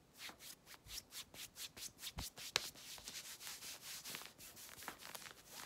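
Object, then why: Denim jeans. Long red nails and fingertips scratch and rub fast and hard at the hip and thigh of worn dark-blue denim jeans, while a belt stays visible but untouched. A rapid run of bright, hissy scraping strokes swells and fades in a steady rhythm, with one sharp tick partway through and almost no low end.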